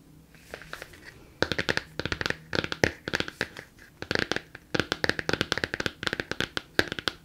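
Long nails tap and scratch the front of a large, closed, solid Emma Cakecup hardcover book with a laminated, glossy cardboard cover, held in both hands. Soft scratching for the first second gives way to bursts of about 38 quick, crisp, bright clicks. Each click dies almost instantly with no ring.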